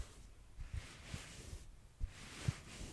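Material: Nothing is struck.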